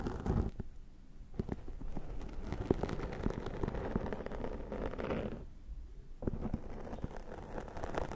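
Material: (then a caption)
Foam. A brown tortoiseshell plastic comb is drawn across the top of a black foam windscreen, a soft porous dome on a Zoom H6 microphone, scratching and combing the foam. Close, low-heavy scratching and crackling strokes come in rapid bursts, with brief quieter gaps around 1 and 6 seconds.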